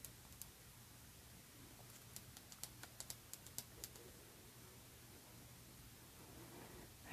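Long red nails tap a rectangular Aerin glass perfume bottle, filled with liquid and held in the hands, on both the glass and the cap. About 14 short, bright clicks come in a loose run, mostly clustered in the middle, over a quiet low hum, and each dies away almost instantly. A soft rustling swell rises at the very end.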